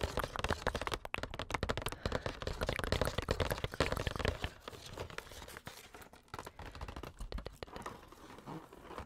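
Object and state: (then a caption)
Cardboard box scratched and tapped by nails. Long nails scratch and tap the surface of a flat, printed cardboard makeup advent calendar box with numbered doors, held up close to the mic. A dense run of crackly, crinkling scratches and quick taps is loudest for the first four seconds. It then continues more softly and sparsely to the end.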